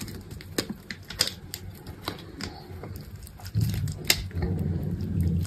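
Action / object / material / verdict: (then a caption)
scrape / bar of soap / soap / none. A metal utility knife blade shaves scored strips off a solid, hand-held green bar of dry soap. About a dozen short, crisp scraping cuts snap out in an irregular rhythm with bright, brittle edges and almost no ring. A low, steady rumble swells underneath in the second half.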